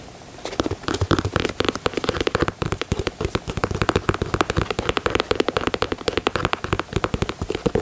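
Long nails tap and scratch the leather side panels and grey speckled midsole of a white leather Air Jordan 4 sneaker. Quick, dry clicks and scratchy brushes come in a dense, uneven stream with short, crackly attacks and almost no ring.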